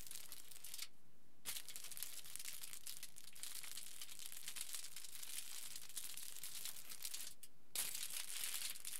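Fingers pinch and crumple the middle section of a pleated aluminium foil sheet lying flat, producing dense, bright crinkling and crackling throughout. Two short pauses break the texture, near the start and shortly before the end, and the crinkling comes back slightly louder after the second one.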